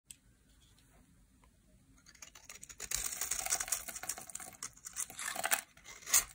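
A metal utility-knife blade shaves and scrapes flakes off the edge of a solid, rectangular, dry green Dalan soap bar held in the hand. After a quiet start, the strokes build into dense, bright, crackly scraping with short dry ticks, ending on one louder scrape near the end.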